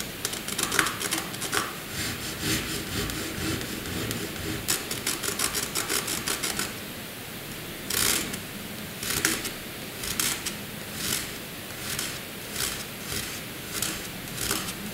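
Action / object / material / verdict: scrape / graphite pencil on paper sheet / paper / none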